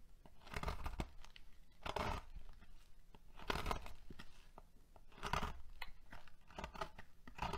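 A metal knife shaves thin curls off the end of a solid peach bar of soap, which rests on a marble surface and is held by fingertips with long painted nails. Each stroke makes a crisp, crunchy, tearing scrape, with quieter crackles between strokes. A pile of soap shavings builds up.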